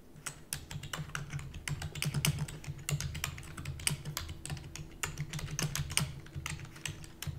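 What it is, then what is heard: Plastic computer keyboard. Long natural nails and fingertips type rapidly on a full-size black plastic computer keyboard with hollow keys. The result is a dense, steady run of quick taps, each pairing a hollow low thump with a bright, sharp click that dies away almost at once.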